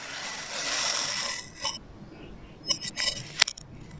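A hand-held metal blade makes diagonal slicing cuts through a solid blue and orange kinetic sand figure on a white surface. A long, bright, grainy hiss of the blade scraping through the sand fades out, followed by four short, crisp scrapes.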